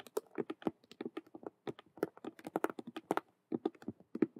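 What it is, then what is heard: Patent faux leather handbag. Long acrylic nails rapidly tap and scratch the front face of a large, hollow, cube-shaped handbag made of glossy patent vinyl faux leather with stitched colored square patches, like a Rubik's cube. The result is a fast, irregular run of dry, clicky taps with a hollow low-mid body and bright edges, each dying out almost instantly, with brief pauses between bursts.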